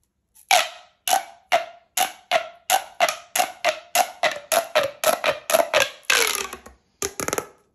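A green, hollow, corrugated plastic pop tube is held by the fingertips and pulled so its segments pop open, then bent into an arc while other tubes lie still on the table. A quick series of sharp, dry pops with a clear tone around 660 Hz and bright upper edges follows, ending in a longer crackling stretch and a few final pops.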